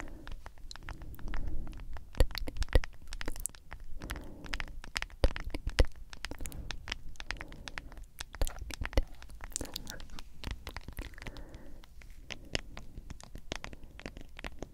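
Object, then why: Plastic powder tub. Long acrylic nails tap and scratch around the sides and white lid of a medium cylindrical plastic G Fuel tub with a printed label. Quick, irregular clicks and sharp taps come in dense bursts over soft scratching, with a few louder knocks standing out against a low, muffled background.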